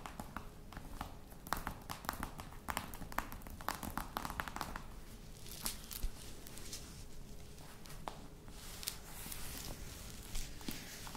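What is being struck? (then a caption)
Faux leather box. Long nails tap on the top and then the side of a hollow, black croc-embossed faux leather box. The taps are quick, dry clicks with bright edges that die away almost at once, over a soft low rumble.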